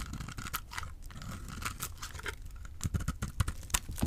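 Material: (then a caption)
Soap. A small, solid orange-and-white bar of dry soap, held in the fingers, is cut with a utility knife blade, giving off crumbly shavings. Dry, crunchy scraping and cutting sounds come in a quick, irregular series of short crackles, with a soft low rumble beneath. The cuts grow sharper and louder toward the end.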